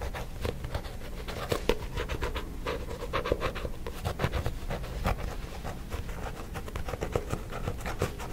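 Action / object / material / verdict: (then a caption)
scrape / paperback book with a glossy card cover / card / none. A fingertip and nail scratch and tap the glossy front cover of the same paperback book, held upright beside the mic. Quick, dry scratching strokes are broken up by soft, short taps, with a full low-end body and a steady, close, intimate texture throughout.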